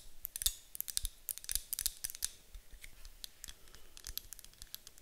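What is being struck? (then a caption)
Wax-filled glass candle jar with metal lid. Long acrylic nails tap and scratch the sides of a medium white glass candle jar with a gold metal lid, apparently wax-filled, standing on a table. The result is a quiet, irregular stream of sharp, bright clicks and scratchy strokes, each dying away almost at once, with a soft low thump beneath some taps. The tapping is busiest and loudest in the first couple of seconds, then settles into lighter, sparser taps.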